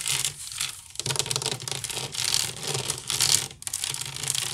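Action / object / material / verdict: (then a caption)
scrape / woven wicker basket / wicker / none. Fingertips and nails scratch quickly over both sides of a hollow, empty woven wicker basket. The result is a dense, bright, crackly rasping that comes in overlapping bursts with a faint low hum beneath, and it breaks off briefly just before the final surge of scratching.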